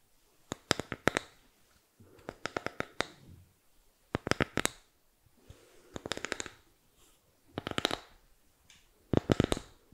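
Long nails tap and scratch across the surface of a small rectangular bamboo or wooden box, likely hollow, held up close to the microphone. About six short bursts of quick, dry clicking taps with a soft scratching rustle are heard, separated by brief quiet pauses.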